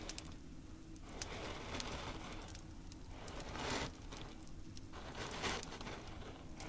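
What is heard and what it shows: Both hands with fingertips and short nails rub, press and spread through a layer of coarse pink salt crystals, likely bath salt, on a black tray. Soft, continuous granular crunching and crackling rises and falls in slow swells, with brighter rasping bursts near the middle and end over a low rumbling bed.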